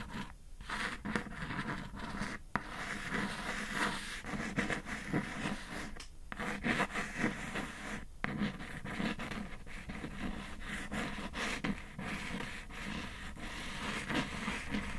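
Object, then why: Cardboard shipping box. Long acrylic nails tap and scratch the top of a closed kraft cardboard Glossybox shipping box with a dark dot pattern, lying flat on a fluffy surface. A steady, dry scratching and scraping continues throughout, broken by short, sharp taps.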